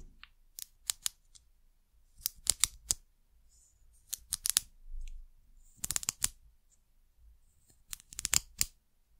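Long nails tap and scratch the top of a white ridged plastic cap on a small amber glass bottle. Short, bright clicks come in quick clusters, with a soft scratching rasp in between, over a quiet background.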